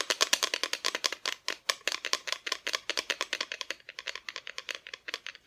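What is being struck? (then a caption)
Thin painted plywood Christmas decoration. Long nails tap quickly on a flat, thin, solid cut-out plywood Christmas decoration with a painted front, making about 40 rapid, dry clicks. The taps are bright and crisp, with almost no low end and very little ring after each one.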